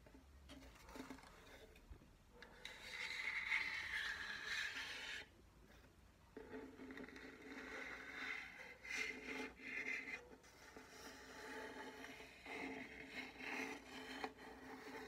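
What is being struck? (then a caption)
Wooden ukulele body. Long nails tap and scratch the top of a small, hollow wooden ukulele body that is held up, with a sticker on it and dried flowers tucked in. The clip is quiet, soft, irregular scraping and tapping, bright and hollow, with a strong scratchy band around 2.2 kHz and very little low end.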